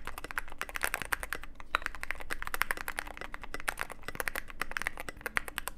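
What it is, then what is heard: Mechanical keyboard being typed on. Continuous two-handed fingertip typing on a Cyberboard mechanical keyboard with white and grey plastic keycaps in a black aluminum case. A rapid, steady stream of short, crisp clacks with a bright midrange click and a low thock underneath, each keystroke dying away almost instantly.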